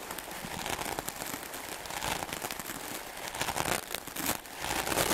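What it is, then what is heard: Melamine foam sponge being brushed. A wooden clothes brush with dark bristles rapidly and vigorously brushes a solid block of white melamine foam magic eraser sponge. The result is a dense, continuous scratchy crackling and crinkling hiss with bright, airy texture and little low end, swelling in short irregular bursts.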